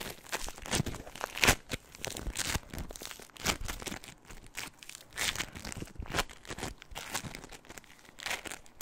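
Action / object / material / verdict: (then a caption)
scrape / floam, polystyrene beads in slime / polystyrene beads / none. A small soft lump of purple crunchy floam, tiny polystyrene foam beads in slime, is held in both hands just above the microphone and squeezed and crunched with fingertips and long nails. Dense, bright crackling and popping comes in irregular bursts, with a few louder crunches standing out against a steady fizz of smaller crinkles.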